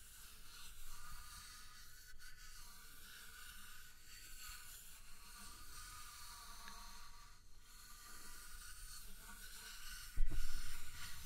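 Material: Nothing is struck.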